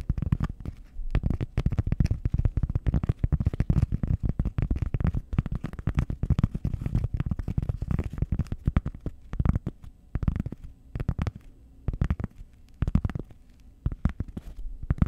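A flat, solid, round cork disc held over a microphone is scratched and tapped with long nails. The result is a dense stream of short, dry, muffled thumps and scratches, almost all low and rumbling with no bright edge. The steady patter gives way to sparser bursts with brief pauses in the last few seconds.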